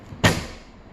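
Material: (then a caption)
Paper. A heavy hardcover copy of Don DeLillo's Underworld, well over 800 pages, is dropped onto the floor. It lands with a single loud, low thud that fades quickly.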